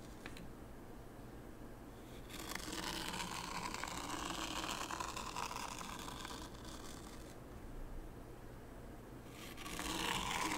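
A small wooden rake held by the fingertips is drawn through fine white sand in a shallow wooden tray, making a soft, grainy scraping hiss with a bright edge. After a quiet start, one long stroke rasps steadily for several seconds and fades, then a second stroke begins louder near the end.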